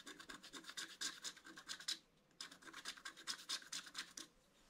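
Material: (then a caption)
Coated paper. A wooden stylus scratches fine lines into the black coating at the centre of a mandala on a flat black-coated scratch-art paper sheet. A rapid series of short, bright, dry scratching strokes comes in two bursts separated by a brief pause. The clip ends in quiet.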